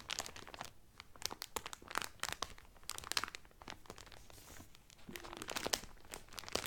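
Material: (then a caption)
Cellophane. Fingertips and nails crinkle and rub the thin clear cellophane wrapper around a blue Carnival cotton towel folded flat. The result is a steady stream of bright, crisp crackles and sharp snaps with soft rustling between them, dry and quickly fading with almost no low end.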